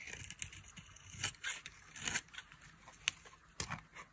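A dry, solid white soap bar with a red rim is held in the hand and carved with a metal blade, peeling off thin shavings. Irregular, quiet, bright scraping strokes crackle and rasp with brief sharp snaps between them.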